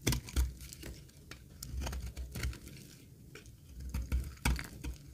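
A solid, dry green laundry soap bar held in the hand is shaved with a metal utility blade, peeling off curls. The strokes come as repeated, irregular crisp scrapes and soft snaps, each with a short bright edge over a dull low thump. They die away almost immediately.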